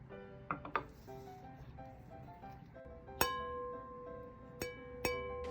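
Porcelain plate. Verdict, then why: Cracked. An antique porcelain plate with two crack lines in its centre is tapped several times, and despite the cracks it rings out clearly. Each tap gives a bright, clean tone near 1 kHz that sustains briefly, with soft melodic music underneath.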